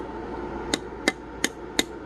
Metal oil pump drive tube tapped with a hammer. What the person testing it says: whenever you're tapping on it and you get this sound it's solid because it's a against the pump